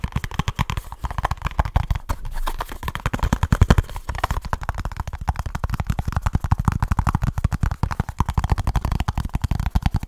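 A small kraft cardboard box with a barcode is tapped and scratched with fingertips and short nails right at the mic. A fast, relentless stream of short, dry taps comes out deep and thumpy, with a boomy low body and faint scratchy texture in between. Each hit dies almost instantly.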